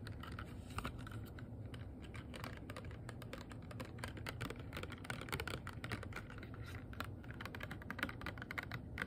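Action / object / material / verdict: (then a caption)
tap / small rigid clear plastic box / plastic / none. Fingernails tap rapidly and continuously on a small, hollow, empty, transparent rigid plastic box. The taps make a dense stream of short, dry clicks with a bright, hollow tick near 1.4 kHz. They sit over a steady low rumble at an even, quiet level.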